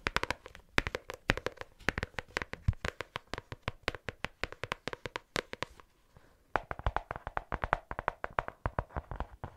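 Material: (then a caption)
Cardboard. A medium pink hardcover "Take note" notebook with a solid card or paper-covered cover is held near the mic and tapped with long acrylic nails that have paper clips attached. Quick, dry, clicky taps come in rapid runs, with a brief pause just past the middle before the tapping resumes. Each tap dies away almost at once, leaving a low thud under a bright click.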